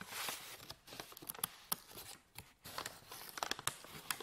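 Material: Paper.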